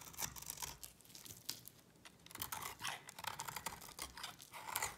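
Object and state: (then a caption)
Dry bar soap being shaved. A utility knife blade scrapes curls off a solid white bar of dry soap. The strokes make dry, crunchy, bright scraping rasps that come in uneven bursts, with a brief quieter stretch in the middle.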